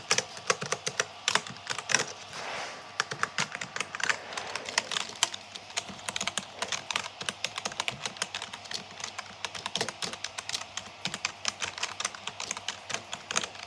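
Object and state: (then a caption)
Plastic computer keyboard. Fingertips type rapidly on the hollow plastic keycaps of a backlit black plastic computer keyboard. The result is a dense, steady stream of short, bright clicks and clacks that die away almost instantly, with very little low end.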